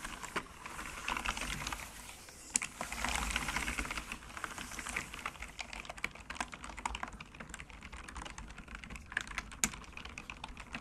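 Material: Bamboo.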